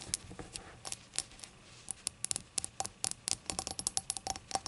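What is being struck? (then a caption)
Small glazed ceramic shot glass. Long acrylic nails tap around the rim and body of a small, hollow, rainbow-glazed ceramic novelty shot glass that lies empty on a towel with its open mouth facing out. Around two dozen quick, bright, clicky taps come in an irregular pattering rhythm, each dying out almost instantly over a faint background hiss.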